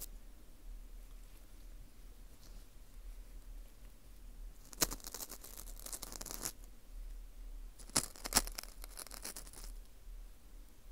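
Metal tweezers pick and scrape inside the hole of a dry, porous dried wheat gluten ring (fu) held in a gloved hand. After a quiet, faint stretch, two bursts of bright, crackly scraping follow, each opening with a sharp click. Between and after the bursts, soft scratching fades back to near silence.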